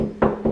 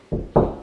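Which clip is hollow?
The second.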